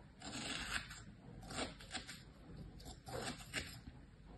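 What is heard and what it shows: A thin tool, held by a hand with long painted nails, scratches patterns over stamped shapes in packed kinetic sand in a mint plastic tray. The result is a series of quiet, dry, gritty scraping strokes with a bright, hissy texture, some drawn out and some short, each stopping quickly with little ring.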